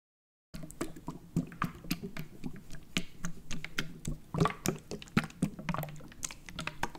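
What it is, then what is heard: Plastic drink bottle, full. A Prime hydration plastic bottle, full of purple liquid and held sideways, is tapped and scratched with fingertips and nails on its ridged plastic label area, with some handling. After a brief silence, a rapid, irregular run of short, dry taps follows, each with a hollow, low thud and quick bright clicks and scratchy rasps that die away almost instantly.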